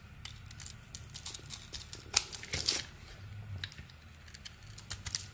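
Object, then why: Bar of soap scraped with a metal blade. A metal blade scrapes and carves thin shavings off the face of a solid, palm-sized orange and purple bar of soap held in the hand. A quick series of crisp, bright scrapes and crackly clicks stands out over a faint low hum, loudest near the middle of the clip.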